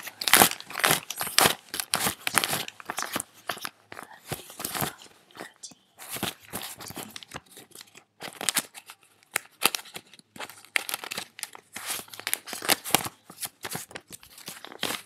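Fingers flick and rub through a fanned stack of thin paper US dollar bills while counting them. The result is a rapid, irregular string of crisp, bright crinkles and papery snaps, with brief pauses between bursts of rustling.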